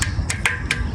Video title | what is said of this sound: Indian 🇮🇳 Tank In Pakistan 🇵🇰 Day 47 / 365 | आवाज से पता लग रहा होगा कितना सॉलिड